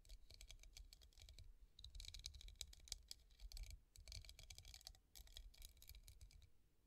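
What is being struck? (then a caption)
Glass vase with raised hobnail bumps. Long painted nails tap rapidly on a hollow, empty clear glass hobnail vase resting on a table. The result is a dense run of quick, dry clicks with bright high ticks that stop almost instantly, over a low background rumble, in short bursts with brief pauses.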